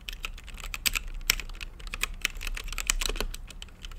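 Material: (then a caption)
Plastic. Fingertips type steadily on a mechanical keyboard with plastic keycaps and a translucent lit case. The result is a rapid, uneven stream of sharp, bright clacks with almost no ring after each keystroke, over a faint low hum.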